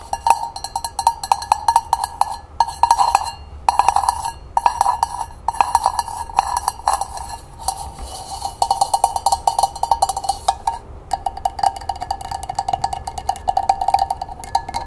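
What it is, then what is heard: Hammered copper coffee pot tapped with nails. Long painted nails tap rapidly on the side and base of a small, hollow, empty hammered copper cezve with a long wooden handle. The result is a dense patter of quick, bright metallic clicks, each carrying a short ringing tone near 960 Hz. The tapping comes in bursts separated by brief pauses.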